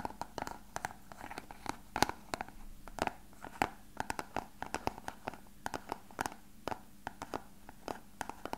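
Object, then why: Hollow plastic box. An elongated, translucent, hollow clear plastic box that appears empty is held in the hands and tapped and scratched with fingertips and nails. Quick, sharp clicky taps with a hollow plastic ring around 800 Hz come in irregular bursts, mixed with soft scratching and rubbing between them.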